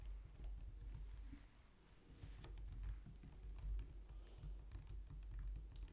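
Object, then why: Plastic computer keyboard. A low-profile white and light-grey plastic wireless keyboard, resting on a glitter mat on a wooden desk, is typed on with long painted nails and fingertips. A continuous run of quick, light clicking taps with bright clacky edges sits over a steady low rumble, with faint possible music in the background.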